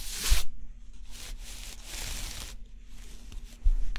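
A small stylus held in the fingers scratches the black scratch-off coating on a flat, thin coated cardboard jigsaw puzzle. Short bursts of dry, papery rasping and bright hiss come in separate strokes, with low thumps underneath. The loudest strokes fall at the start and near the end.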